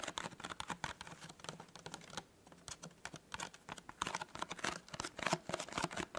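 Fingertips and nails tap fast on the folded top of a small, hollow, white printed cardboard tea gift box. The result is a rapid, dense patter of short, dry clicks with a bright, papery edge. There is a brief lull in the middle before the tapping picks up again.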